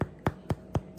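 A freshly baked homemade white sandwich loaf, just slid out of its greased pan, is thumped five times, giving short, dull, hollow low thuds spaced evenly apart. The hollow sound shows the loaf is cooked all the way through.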